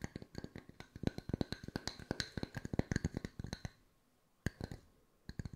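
Wooden circles are tapped with the fingertips at mixed speeds, giving about 30 short, dry, woody knocks with a low hollow tone and almost no ring. A quick run of taps is followed by a brief pause and a few final taps.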